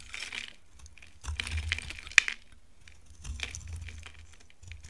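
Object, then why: Bar of soap scraped with a knife. A utility knife scrapes a dry, solid peach-colored bar of soap, shaving off powdery flakes. The strokes come as bright, dry scraping and crinkly crumbling bursts, with one sharp click near the middle and a faint low hum underneath.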